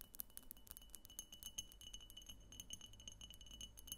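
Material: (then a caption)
Glass. Long painted nails tap rapidly all around the sides of a medium, egg-shaped pink frosted glass diffuser lamp that appears hollow and has a thick clear base, as it stands on a table. Each tap gives a quiet, sharp, bright click with almost no ring. Faint steady tones near 3 kHz and higher hold underneath, over a low rumble.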